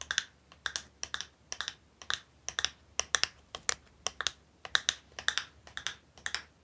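Long nails tap and scratch a small, hollow printed cardboard box with a purple design held close to the microphone. Quick, crisp clicking taps come in small irregular clusters, bright and high-pitched with almost no ring, and faint scratchy texture sits between them.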